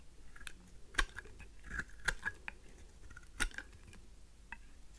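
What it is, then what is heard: Dry soap being cut with a blade. A faceted pink heart-shaped solid dry soap is held in the hand and cut and shaved with a craft knife blade. Quiet, irregular dry scraping and crisp clicks follow one another, with a few sharper cuts standing out above a soft low rumble.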